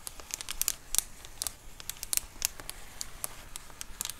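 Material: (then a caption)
Plastic. Long acrylic nails scratch and tap across a large white plastic Amazon Prime bubble mailer lying flat. The result is a quiet, dry, bright crinkling and scratching punctuated by many sharp clicking taps that die away instantly.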